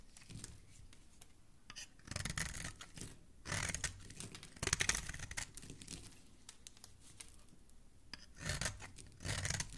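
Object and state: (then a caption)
Bar of soap being shaved with a blade. A palm-sized, solid, oval green bar of soap held in the fingers is scraped and shaved with a utility knife blade, throwing off fine shavings. Bursts of dry, bright scraping and crisp shaving alternate with quieter pauses, with a low rumble under the strokes.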